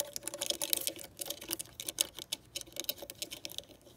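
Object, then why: Plastic rotary phone dial. Long decorated nails tap and scratch over the finger holes and centre card of a clear plastic rotary dial with a gold metal rim on a green vintage telephone. A rapid, uneven stream of sharp, bright plastic clicks and light scratchy ticks is heard, each dying away almost instantly, with almost no low end.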